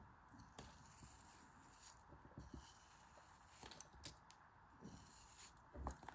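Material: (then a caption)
Kinetic sand. A thin metal craft knife blade scores a grid into a palm-sized, solid pressed block of pink kinetic sand held in one hand, then slices through it and cuts into the crumbling sand. Quiet, grainy scratching is broken by short, crisp cutting scrapes with a bright, sandy edge. The sounds die away almost instantly, with a steady faint hiss in between.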